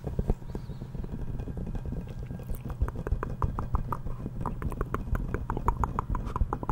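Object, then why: Inflated rubber ball. Fingertips and nails tap and scratch the surface of a yellow, hollow, inflated rubber ball with a giraffe print, about 20 cm across, held in both hands. A rapid, uneven run of short, dry taps lands over a low, hollow thudding rumble, with each tap dying away almost at once.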